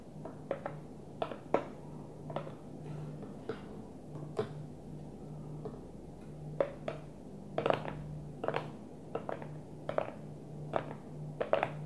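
A Tupperware plastic food container is gently tapped, giving a steady, irregular series of short, dull, hollow clicks that die away almost instantly. A faint low hum runs underneath the whole time.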